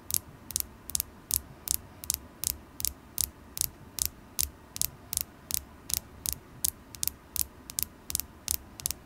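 A solid, polished carnelian crystal point held in the fingers is tapped with long acrylic nails, giving 27 quick, bright clicks with almost no ring. The taps come at a slightly uneven pace over a low, steady hum.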